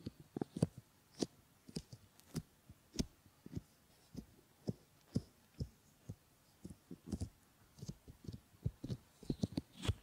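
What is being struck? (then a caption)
Silicone ear models. Fingertips with short painted nails rub and stroke around the ears and ear canals of a pair of realistic solid silicone ear models set on flat silicone pads as binaural microphone ears. About two dozen soft, muffled thumps and brushing rubs come in an irregular rhythm, mostly low and dull, with brief bright scratchy clicks on some strokes. The sound stays quiet and close, like a faint heartbeat-like throbbing, with no ring after each touch.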